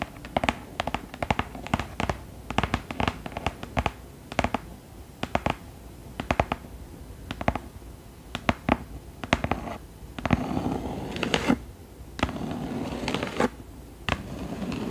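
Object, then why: Cloth-covered hardcover book. Long acrylic nails tap and scratch the embossed front cover and inset picture of a large, thick green cloth hardcover book lying flat. Quick, dry, clicky taps with almost no ring come in bursts, then give way to longer stretches of soft, rasping scratching.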